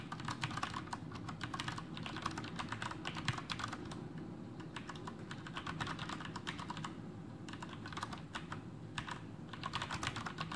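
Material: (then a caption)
Plastic. Fingertips of both hands type continuously on a full-size black plastic Masterkeys Pro M mechanical keyboard with Cherry MX Brown switches and blue backlit keycaps, resting on a desk. A dense, steady stream of short, crisp key clacks with bright edges rises and thins in bursts over a constant low background rumble.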